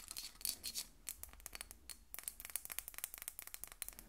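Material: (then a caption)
Glass. A Miss Dior rectangular glass perfume bottle with a ribbon bow, partly filled with pink liquid and held up, is tapped and scratched on its flat glass faces with long nails. Quick, irregular, bright clicking taps mix with brief high scratching, with almost no ring after each tap. The sound is quiet and crisp, with little low end.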